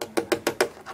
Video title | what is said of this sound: Vms4 over view | this is plastic you can hear it